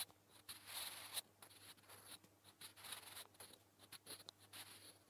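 A wooden graphite pencil held by fingers scratches across a flat grey lined paper notebook page in short writing strokes. The sound is a quiet, dry, high-pitched scratching in quick bursts, with a faint low hum underneath.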